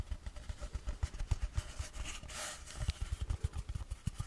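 A long, empty, hollow cardboard tube held near the microphone is tapped and scratched with fingertips and long nails. A rapid series of deep, hollow thumps centers around 59 Hz, and a brighter scratching rasp comes in about halfway through. Each tap dies away almost at once.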